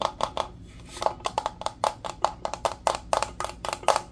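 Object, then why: Powder-coated steel tumbler. A hollow, insulated teal powder-coated steel tumbler with a straw is tapped and rubbed with fingertips and nails. A fast, uneven series of sharp taps gives short, hollow metallic pings with bright nail clicks, and soft rubbing fills the gaps between them. Each tap dies away almost at once.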